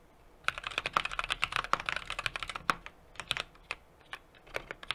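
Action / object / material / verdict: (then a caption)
tap / mechanical keyboard with aluminium case and plastic keycaps / aluminium, plastic / none. Steady two-handed fingertip typing on a 60% mechanical keyboard with an aluminum case, brass plate and plastic keycaps. After a brief quiet start, a dense flurry of crisp, bright keystroke clicks thins out into more spaced-out taps toward the end. Each click is short and sharp with almost no low-end thump.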